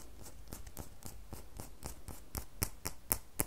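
A small solid rectangular bar of red soap, held in the hand, is scratched and tapped with long manicured fingernails. Soft, brushing scratches give way to a loose series of sharp, bright clicks that grow louder and more distinct toward the end, each dying away almost at once.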